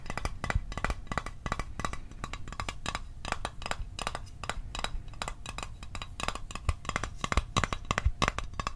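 A small, hollow, closed rectangular Altoids mint tin made of metal is held in the hands and tapped rapidly with the fingertips and fingernails. The result is a steady stream of quick, dry clicks, each with a brief tinny ring and a soft low thump beneath, ending a little louder in the last seconds.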